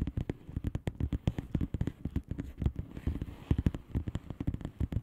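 Fast tapping with the long painted nails of both hands on a flat blue plastic bubble wrap envelope full of air-filled bubbles. It makes a rapid, uneven run of short, soft, muffled taps that are mostly low and dull, with almost no brightness. Each tap dies away almost at once.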